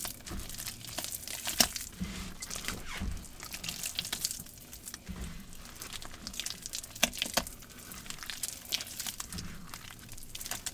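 Both hands squeeze, crunch and dig into a green damp paste of wet cornstarch and gym chalk in a large plastic bowl. The sound is a steady crinkling, crunchy texture, mostly bright and high, with occasional sharper crackles and low soft squishes.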